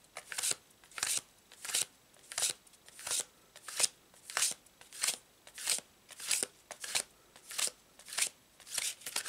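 A full deck of stiff paper tarot cards is overhand-shuffled continuously in both hands above a fabric tablecloth. The card edges slide and slap against each other in quick, bright, papery bursts that repeat steadily about every 0.6 seconds, each burst brief with almost no ring or low-end weight.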